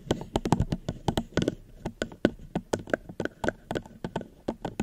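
Fingers gently tap on a plastic cup held at the microphone, giving about two dozen short, dry taps in an uneven rhythm. Each tap has a soft low-mid body and a faint bright click, and it dies away almost at once.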